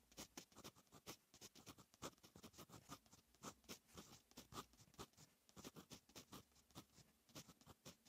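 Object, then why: Lined paper notebook page with metal fountain pen nib. A fine metal fountain pen nib writes on a lined paper notebook page, making quiet, quick scratching strokes. Dozens of short, crisp scrapes follow one another in an uneven rhythm, each with a bright, papery hiss and almost no ring.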